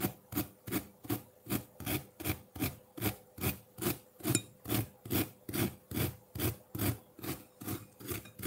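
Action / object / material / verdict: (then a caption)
scrape / block of ice scraped with a metal fork / ice / none. A metal fork scrapes a solid block of ice with blue-green tinted layers sitting in a ceramic bowl. The clip has 18 steady, rhythmic rasping strokes at roughly two per second, each with a gritty low-mid body and a bright, crisp edge.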